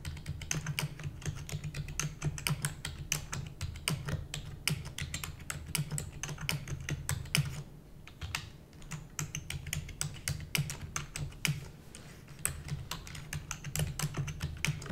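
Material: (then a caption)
Plastic. Long nails and fingertips of both hands rapidly type on a full-size black plastic computer keyboard with hollow keys. Fast, bright, clicky keystrokes run over a steady low hum, with brief pauses around the 8 and 12 second marks.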